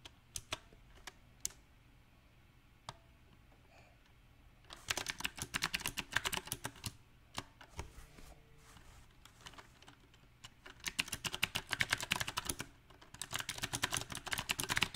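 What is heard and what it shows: Fingertips of both hands tap the round black plastic typewriter-style keycaps of a compact backlit Magicforce 68 mechanical keyboard with a silver metal-look frame. A few scattered, sharp clicks give way to rapid, dense bursts of bright, clicky keystrokes with very short decay. A sparser stretch follows before the typing picks up again in fast flurries until the end.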